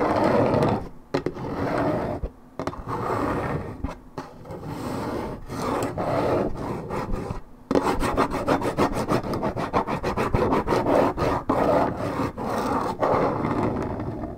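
Long red nails scratch hard across the printed panel of a hollow Minute Maid 1.75 L coated paperboard orange juice carton, its contents unknown. The result is a dry, rasping rub of quick, uneven strokes, full and midrange-heavy with little brightness. A brief pause comes about halfway through, and then the scratching returns denser and faster.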